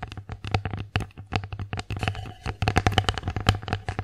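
Long acrylic nails tap quickly and irregularly on the surface of an empty wooden bear-face plate, making short, dry clicks that stop almost at once. A steady low hum runs underneath, and the sound briefly crossfades near the end.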